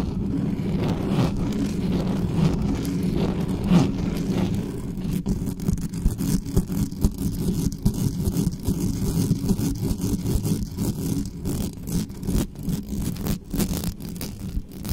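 Long nails scratch quickly across the top of the metal mesh grille of a black studio microphone. The result is a dense, continuous scratching and rustling with a heavy low-end rumble that stays fairly steady throughout.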